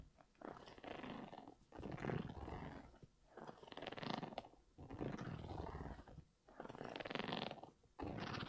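Fingers and nails scratch the rubber sole of an empty grey Yeezy 350 V2 sneaker with a knit upper, held upright. The result is broadband scraping and rasping in long swells, with short pauses between passes.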